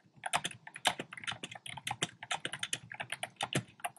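Fingertips type rapidly on a compact black plastic typewriter-style keyboard with round plastic keycaps. About 25 quick, bright clicky key taps with short, dry decays follow one another in an uneven, steady rhythm.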